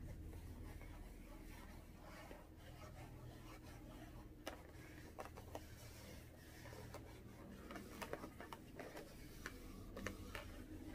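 A small, hollow, air-filled blue latex balloon is held in both hands and tapped and scratched with long orange-painted nails. Quiet scratchy rubbing runs throughout, broken by sharp, bright taps that die away almost at once. A low, steady hum sits underneath.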